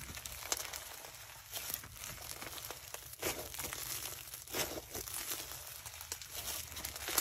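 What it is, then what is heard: Foam-bead slime (floam). Bare hands squeeze, fold and pull apart a soft, solid mass of yellow foam-bead slime (floam) packed with tiny foam beads and black bits. It gives a steady run of bright, crunchy crackling pops and crinkles, with sharper snaps scattered throughout.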